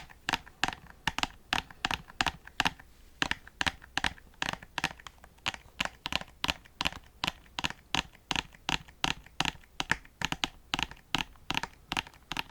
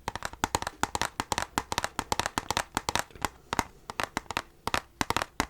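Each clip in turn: First: plastic disc case, brittle and cracked. Second: steel game case, metal.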